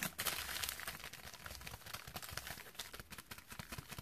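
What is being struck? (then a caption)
Plastic padded bubble mailer. A white plastic padded bubble mailer with a shipping label, hollow and lightweight and apparently holding a small item, is held in the hands and tapped and scratched across its surface with long dark-painted nails. The result is a quiet, dense stream of bright crinkling taps and scratchy rustles at an irregular, quick pace, with faint low thumps underneath.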